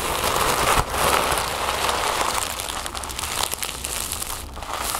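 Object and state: Crumpled tissue paper.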